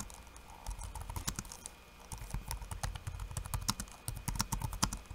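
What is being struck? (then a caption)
Plastic laptop keyboard keys. Fingertips of one hand type fast on a backlit laptop keyboard with plastic keycaps and red lighting. Quick, dry plastic taps patter in uneven bursts, with low thuds under bright clicks and a faint steady tone in the background.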